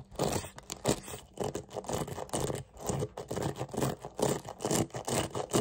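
Fingertips scratch and rake quickly across the dense, tipped metal pin bristles of a small handheld hairbrush with a dark plastic body, held close up. Fast, irregular bursts of dry, papery scraping rise and fall in uneven rhythm, with most energy in the low-mid range and each stroke cutting off almost instantly.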